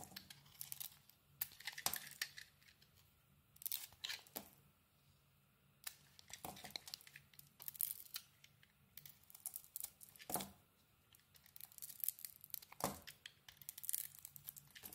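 A utility knife blade carves long peels off a solid red and white Lux soap bar held in the hand. The result is a series of quiet, bright, crisp scraping and tearing strokes, separated by short pauses, with a faint low hum underneath.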